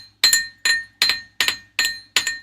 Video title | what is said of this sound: Tech Talk with Eddie & Ralph 4 Oct 25 | it is metal. You can hear it on the desk. That's me tapping it on the desk. It's pretty thick, too. It's not like real thin.